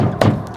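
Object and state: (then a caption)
Knock on a plywood-sheathed wall to locate a stud. A single knock on a plywood-sheathed wood-framed wall, made to find a stud behind it. It gives a short, low thud centered around 100 Hz that fades within a fraction of a second. Whether the spot sounds solid is not stated.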